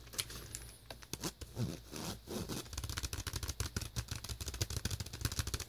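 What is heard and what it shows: Fingertips and nails scratch and rub the ribbed inner surface of an open white plastic VHS clamshell case, hollow and empty on the inside cover. The result is a dense run of quick, dry, bright scratching strokes, growing busier and more rapid toward the end, over a steady low hum.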